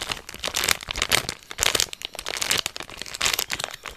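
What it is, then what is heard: Plastic candy bar wrapper. Fingers crinkle and rub the small plastic wrapper of a NussPli candy bar held in both hands. The result is a steady run of bright, crackling rustles in uneven bursts, with almost no low end.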